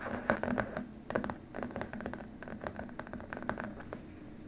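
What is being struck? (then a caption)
Plastic keyboard wrist rest. A long, flat white plastic keyboard wrist rest is scratched and tapped by both hands using fingertips and short nails. The result is a dense run of quick, dry clicks and scratchy taps with sharp bright transients and a faint low hum underneath. The first taps are loudest, and the activity then continues more softly.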